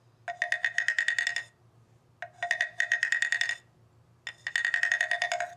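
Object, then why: Ridged bamboo tube instrument played with a wooden stick. A hollow bamboo tube instrument with ridged slats, resting on carpet, is tapped and scraped with a wooden stick mallet in three quick bursts of rapid, woody clicks. Each burst rings with a bright, hollow tone near 1.9 kHz over a lower note around 700 Hz. A faint low hum runs underneath throughout.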